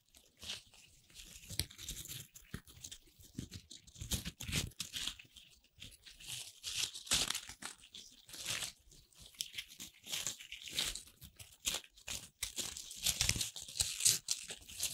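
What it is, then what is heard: Corn starch foam pieces being crushed. Both hands squeeze and crush colorful corn starch foam playcorn pieces in a fist, the fingers tipped with long red nails. It makes a steady run of dry, bright rustling crunches and crinkly tearing sounds, with short bursts that rise and fall throughout.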